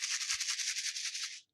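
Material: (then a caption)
Paper, plastic. A handmade paper shaker card filled with star and pastel sprinkles is shaken close to a microphone. It makes a continuous bright, hissy rattle for about one and a half seconds, then stops abruptly. The rattling shows the sprinkles move freely inside the sealed window.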